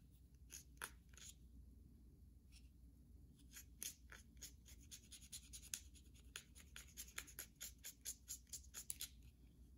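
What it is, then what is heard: Bar of soap scratched with fingernails. Long pink nails scratch and scrape the side and edges of a solid white bar of soap held in the hand. Short, dry, bright scratches come in a quick, uneven series over a steady low hum. The scratches grow denser and sharper toward the end, each dying away almost at once.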